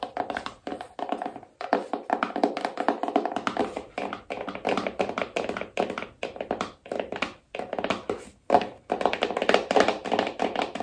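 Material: Cardboard.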